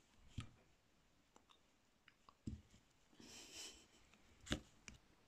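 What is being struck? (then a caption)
Bar of soap scraped with a carving blade. A metal carving tool with a purple handle scrapes and shaves curls off a palm-sized solid pink bar of soap held in one hand, and the shavings collect on the cloth below. Five soft, short clicking cuts are heard, along with a brief bright, hissing scrape in the middle, all quiet and close.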